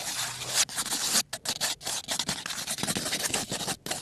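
A small, closed kraft cardboard box of colored pencils, likely full, is held in one hand close up while fingertips and nails scratch and scrape across its surface. The result is a dense, bright, dry scratching with almost no low end, broken by a few brief pauses between strokes.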